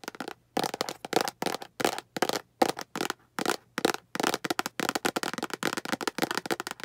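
Long acrylic nails tap the sides of a small, hollow, translucent green plastic storage box. Short bursts of crisp, bright clicking taps are separated by brief silences at first, then run together into a faster, nearly continuous patter. Each tap is hollow and light with almost no ring.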